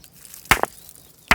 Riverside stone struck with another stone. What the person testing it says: ये पत्थर जैसे आ रही है